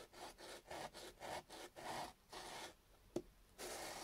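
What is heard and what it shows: A small, solid chunk of raw peeled potato is held in the fingertips and rubbed back and forth on a beige sandpaper sheet. It makes a rhythmic, breathy scraping with a bright, gritty hiss on each stroke. A pause and a single sharp tick come before the rubbing resumes.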